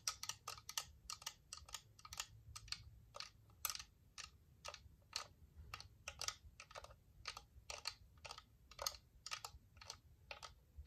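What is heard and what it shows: Long painted nails and fingertips tap and scratch a small white hollow plastic dome UV nail lamp, out of its box. A rapid, uneven run of sharp, bright clicks and taps cuts off almost instantly, with little low end beneath a faint, steady background rumble.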